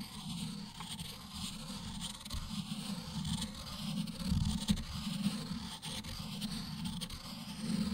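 An ink stick held in the fingertips is ground in circles on a round, solid, palm-sized black stone inkstone whose well holds some liquid ink, while the other hand steadies the stone. The result is a continuous low, gritty scraping that swells and fades with each circular stroke, with faint bright hiss and small clicks above it.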